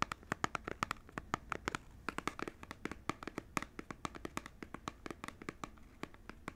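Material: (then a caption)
Cardboard. A small cardboard Joy-Con controller box is held in both hands while fingernails tap and scratch its front panel. The result is a steady, rapid run of crisp, dry clicks with a papery ring around 1.2 kHz and light scratching between them, each tap dying away almost instantly.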